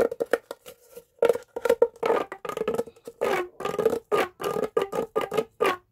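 A green, hollow, corrugated plastic pop tube is bent into a loop and stretched out by hand with the fingertips. It gives a quick series of short, sharp pops and clicks, each carrying a hollow tone around 470 Hz with brighter overtones. Some pops stretch into brief ribbed, zipping bursts.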